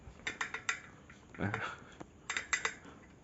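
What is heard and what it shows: A metal part with a steel bearing pressed into its worn seat, fixed with thread-locking compound, is shaken, possibly from a pump on an RC 80-100-110 or Akila 110, which is not made clear. Short, bright metallic clicks and rattles come in two quick bursts with a softer rustle between. The bearing stays tight and does not come loose.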